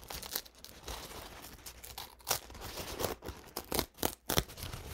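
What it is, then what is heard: Stiff paint-soaked paper towel being crinkled. A stiff, dried, paint-soaked paper towel in brown and purple is held up, unfolded and crinkled with fingertips. Dry, papery crackling and rustling runs throughout, broken by sharp, bright crunches that grow louder and more distinct toward the end.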